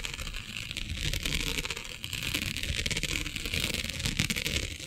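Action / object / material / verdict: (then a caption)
scrape / plastic mesh sheet scratched with fingernails / plastic / none. Long nails scratch across a flat black iridescent plastic diamond mesh sheet, raking over its grid. The result is a steady, dense, bright scratching texture with quick rasping strokes over a low rumbling undertone.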